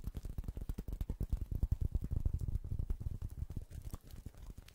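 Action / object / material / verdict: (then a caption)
scrape / woven straw coaster / straw / none. A small, round, flat woven straw/rattan coaster held beside the microphone is scratched and pattered with fingertips and nails. This makes a rapid, uneven stream of soft crackly taps and scratches with a deep, muffled thump under each one. The pattering eases and grows quieter near the end.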